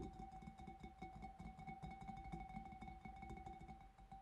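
Fingertips and nails of both hands tap rapidly on the front of the bulb of a large, empty, clear glass fish bowl, which is hollow. Each tap gives a soft low thud and a short glassy ring that holds a steady tone near 750 Hz with a fainter higher overtone, and the taps blur into a continuous, gently ringing patter.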